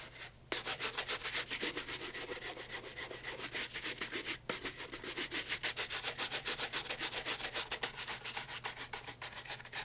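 A brown pigskin leather loafer with a wooden shoe tree, held in hand, has its upper and leather sole brushed with a wooden-backed horsehair brush. Roughly thirty quick, bright, bristly strokes follow one another at a steady pace, with a brief pause near the start and another around the middle.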